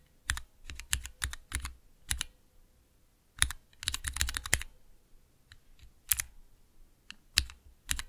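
Fingertips press and tap the clear plastic keycaps of a small 3x3 mechanical keyboard switch tester, with Cherry MX switches set in a clear plastic base resting on dark velvet. Sharp, bright plastic clicks and clacks come in irregular bursts and quick runs, each with a soft low thock and almost no ring.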